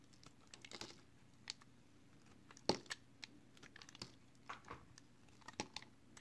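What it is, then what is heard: Soap bar being shaved. A utility knife blade shaves along the edge of a small, solid, green marbled piece of recycled soap held in the hand, cutting off soap flakes. Quiet, crisp scraping clicks and bright little crunches come in an irregular series over a faint steady hiss, with one sharper crack near the middle.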